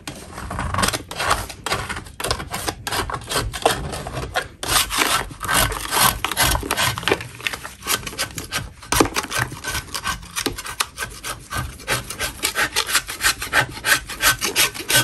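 A metal spatula blade scrapes a solid lump of natural chalk inside a plastic bin, producing a steady run of quick, dry, gritty rasping strokes. The scrapes come in an uneven rhythm of about three per second, bright and hissy with little low end, with short pauses between bursts.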